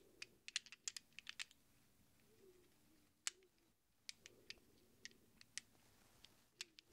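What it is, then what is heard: Chrome steel sockets clinking in the hand. A handful of small hollow chrome-plated steel sockets rests in a cupped palm while fingertips stir them and the hands close around them to shake them. Sharp, bright metal-on-metal clinks come in quick irregular bursts with short pauses, each tick dying away almost instantly over a quiet background.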